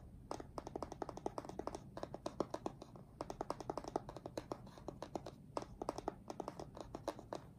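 Fingertips of both hands rapidly tap on the top face of a closed, printed cardboard retail box for an Apeach keyboard, which is hollow with the keyboard inside. Dozens of quick, dry, hollow taps come in uneven bursts, each dying away almost instantly. A soft low hum sits underneath.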